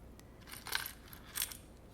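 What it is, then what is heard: Box of seashells. A cardboard box that once held glass straws, now filled with collected seashells, is shaken, and the shells inside clink and rattle like dropped coins in two bright bursts.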